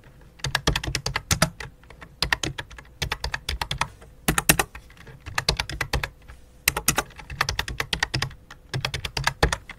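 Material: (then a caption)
Plastic. Fingertips with long nails type rapid key taps on a full-size white and light-blue plastic computer keyboard resting on black cloth. Bursts of sharp, bright clicks with short, dull thocks come in quick runs separated by brief pauses.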